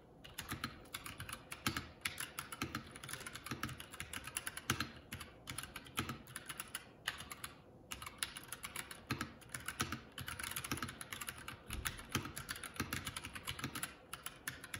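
A Keycool K84 75% mechanical keyboard with plastic keycaps, resting on a wooden desk, is typed on continuously with the fingertips of both hands. The result is a dense, steady stream of quick, bright keystroke clicks with a soft low thud beneath each press, broken only by short pauses such as one near the middle.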